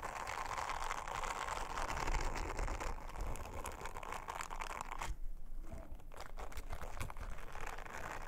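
An orange silicone bristle scrubber is rubbed and brushed over a round, flat, thin blue silicone honeycomb trivet by long-nailed fingers. The result is a steady, dense crinkling and scratching texture with a low rumble underneath and a brief quieter dip partway through.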